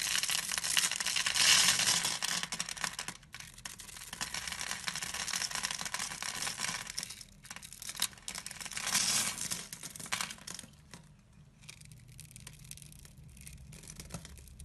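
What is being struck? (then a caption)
Bar of soap. A blade scrapes and cuts into a solid, hand-sized bar of pink and white striped soap, shaving it and cutting cubes that crumble off. The sound is a dense run of bright, crisp scratching and crumbly crackling, with louder bursts and quieter softer shaving toward the end.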